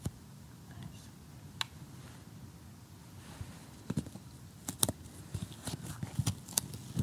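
Assembled cardboard jigsaw puzzle pieces lying flat are tapped close-up with a short fingernail and metal tweezers. Quiet, sharp, bright clicks and crisp ticks stand out over a soft low rumble, coming sparsely at first and then more often toward the end.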